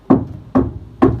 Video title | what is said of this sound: DIY Van Conversion: Sprinter Van Rattletrap installation (Sound dampening material) | if you come down here where we do have it it's very solid so that kind of like just like it says dampened the sound